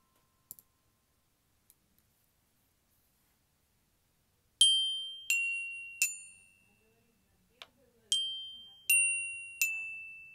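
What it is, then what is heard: Metal glockenspiel bars. A child's glockenspiel with flat aluminium-coloured metal bars on a turquoise plastic case is tapped with a yellow-headed mallet on a plastic handle. After a few faint clicks, bright metallic notes ring out one at a time, each with a clear high pitch around 3.1 kHz that decays over a fraction of a second. Seven distinct strikes are heard, plus one brief softer tap.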